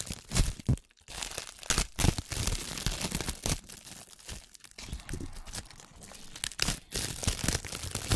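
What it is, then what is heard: Plastic cling film. Clear plastic cling film bunched against the microphone is squeezed and rubbed with fingertips and long nails. This produces dense, crackling crinkles with sharp, bright bursts and a full low-end rumble, broken by brief pauses near 1 and 4.7 seconds.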